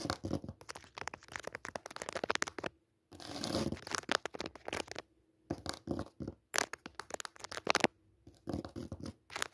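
Long natural nails scratch across a thin white embroidered cutwork cotton tablecloth lying on a hard dark surface. The result is rapid, dry, bright scratching strokes in dense bursts, with a smoother continuous rub near the four-second mark and short silent pauses between passes.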